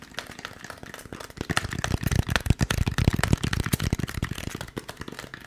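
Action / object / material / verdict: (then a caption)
tap / expanded polystyrene foam packaging block / polystyrene foam / none. Fingertips rapidly tap and scratch a white expanded polystyrene foam packaging piece with molded recesses, held close to the microphone and moved around. The result is a fast stream of dry, hollow, thumpy taps with a strong low body and very short ring, mixed with light scratchy rustles. The tapping grows louder through the middle of the clip and then eases off toward the end.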